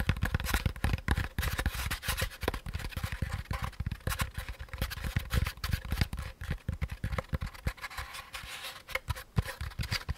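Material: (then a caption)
Paper pulp. A hand-sized, hollow beige molded paper pulp packaging insert is held in both hands while fingertips tap and scratch its sides. Quick, dull, low thumps come in a dense irregular stream, mixed with dry, papery scratching that carries some bright hiss. Each tap dies away almost instantly.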